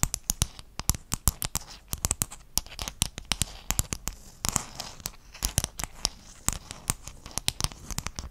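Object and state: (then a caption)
Mosaic tile sheet. Fingertips and nails scratch and tap across a flat sheet of small silver-blue hexagonal mosaic tiles held close to the mic. A rapid, dense stream of sharp, bright clicks and scratchy crackles, each cutting off almost instantly, rides over a faint low rumble.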